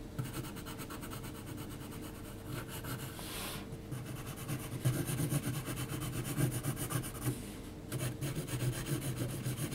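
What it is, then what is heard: Pencil hatching on textured paper. An HB graphite pencil held in the hand is scratched in hatching strokes across a large, flat sheet of heavy 300 g textured mixed-media paper lying on a flat surface, as a pencil drawing of a face is made. The result is a steady, fast, grainy scratching and rubbing, roughly four strokes per second, full in the low range with only faint brightness. The strokes grow slightly louder after brief pauses near the four- and eight-second marks.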